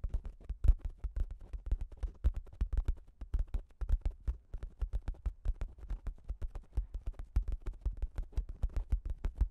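Long acrylic nails rapidly scratch the top of a pink plastic shower cap with a cat print, stretched over a Zoom H6 recorder. Dozens of quick, dry scratches and taps follow one another, each with a dull low thump and a faint bright crinkle of plastic, dying away almost instantly.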